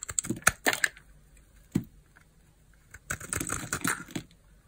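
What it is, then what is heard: Bar soap shaved with a knife. A utility knife blade carves a small, solid pink bar of hard soap held in the palm, shaving off slices. Short, crisp scraping cuts come in a quick cluster, then a single stroke, then a denser run of dry shaving sounds after a quiet pause.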